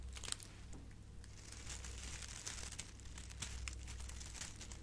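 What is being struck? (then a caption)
Metallic foil gift bow. A hand-sized, hollow and light silver metallic foil gift bow with curled ribbon strands is held in one hand and crinkled and squeezed with long painted nails and fingertips. Dense, bright, papery crinkles and sharp crackles come in quick irregular bursts over a steady low hum.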